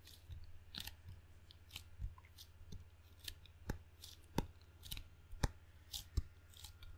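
Fingertips tap and peel away from the sticky black rubber face of a table tennis paddle with a solid wood blade. Sharp, dry little clicks and tacky crackles come in an irregular series over a low, steady hum.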